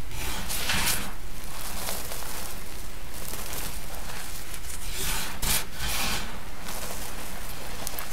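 Both hands, fingertips and palms, press, squeeze and rub a large spread-out heap of loose, crushed pinkish-white gym chalk (magnesium carbonate) with small lumps, colored speckles and glitter on a dark surface. The result is a steady, gritty rubbing and scraping texture with recurring bright, crunchy swells and a low rumble underneath, holding a fairly even level throughout.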